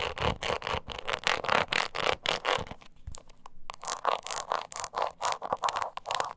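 Long nails quickly scratch the flat face of a small, hollow croc-embossed leather mini purse. Rapid, uneven strokes make dry, bright rasping bursts with a scratchy midrange body. A briefer, quieter patch around the middle is followed by more rapid scratching.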